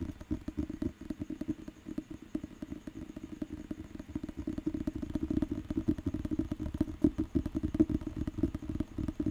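Fingertips and nails tap and scratch the glossy cover of a thick, solid paper dictionary held in the hand. The result is a steady stream of rapid, dry, muffled taps and soft scratchy clatter centered in the low-mid range, with almost no bright content. Each tap dies away almost instantly, and the sound grows slightly louder and busier toward the end.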